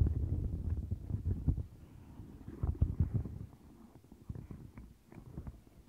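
Fingertips and long nails rub and press the bumpy center and bristles of a turquoise silicone mat, making deep, muffled rubbing and squishing sounds with irregular soft tapping. The sound is dense and low, loudest in the first three seconds, then fades to quieter scratchy brushes and occasional light taps.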